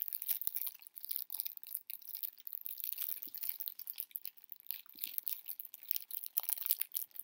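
A heart-shaped chocolate box in clear cellophane wrap is held and turned in the hands while fingertips crinkle and rub the wrap. The result is a quiet, dense stream of crisp, bright crackles and rustles with almost no low end, rising and falling as the box is rotated.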